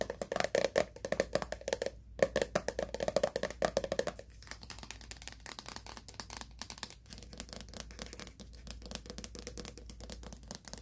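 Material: Plastic.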